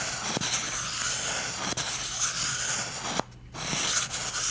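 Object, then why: Cardboard toilet paper tube. A fingertip and short painted fingernail rub and scratch the surface of a hollow, empty cardboard toilet paper tube. A steady, bright, papery scratching fills the clip, broken by a few sharp clicks. It drops briefly to near silence before the rubbing resumes.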